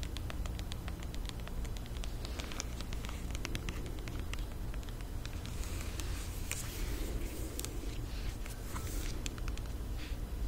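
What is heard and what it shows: A tall white Billie aluminum aerosol shave cream can with a blue plastic cap, hollow and pressurized, is held in both hands and tapped and scratched with long painted nails. Quick, light clicking taps and raspy scratching patter over a steady low hum throughout.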